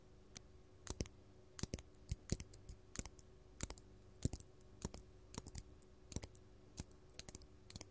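Long gold metal claw nails worn as finger jewelry tap and scratch a large, solid, faceted purple artificial glass crystal gem. Sharp, bright clicks come in quick, irregular bursts, each dying away almost at once, over a quiet, steady low hum.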